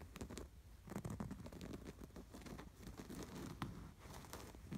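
Fingertips and nails scratch and rub across the stitched pattern of a soft, stuffed cream canvas throw pillow embroidered with a red and white sweater. The result is a quiet, continuous run of dry, scratchy rustling strokes with a muffled, low-heavy body and brief brighter scrapes.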